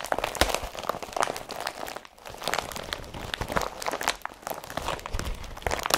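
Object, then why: Woven polypropylene carrier bag. An empty blue IKEA BRATTBY woven polypropylene carrier bag is pressed and squeezed under fingertips and palm, giving a steady stream of dry, bright crinkling and crunching with sharp crackles. There is a brief quieter pause around two seconds before the crinkling resumes.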